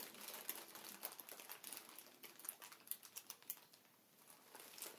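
Both hands press, tap and scratch with fingertips and nails on a strip of clear, hollow, air-filled plastic air pillow packaging lying on a table. The result is a quiet, irregular stream of bright, crinkly taps and scratchy rustles with very short, dry decay and almost no low end.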